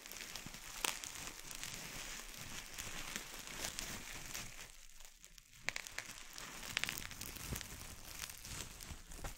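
A clear plastic bubble wrap sheet is bunched in both hands over a wooden board while fingertips squeeze and pop the bubbles. A steady, bright crinkling runs throughout, broken by sharp snapping pops that stand out above it, with a brief quieter lull just before the six-second mark.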